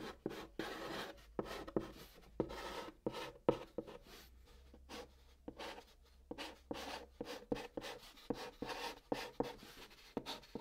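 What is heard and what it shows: White chalk held in the fingertips scratches out a new line of Korean text on the large, flat surface of a brown cardboard box. Short, dry scratching strokes come in quick bursts separated by brief pauses, each stroke starting sharply and fading fast. A faint low hum runs underneath.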